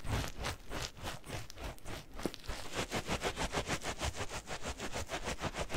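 A yellow latex balloon filled with granular cat litter is squeezed and kneaded with the fingers. It gives soft, gritty crunching and rustling in quick, loosely rhythmic pulses, with a low muffled body and bright granular crackle.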